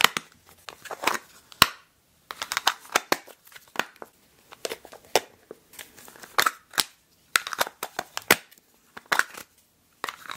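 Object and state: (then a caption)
Small plastic food container with snap-on lid. A small, empty, square translucent plastic food container with a white snap-on plastic lid is held in both hands while the lid is pressed and snapped on and off with fingertips and long nails. Bursts of sharp, bright clicks come in quick clusters, with crinkly plastic rustling between them and brief silent gaps.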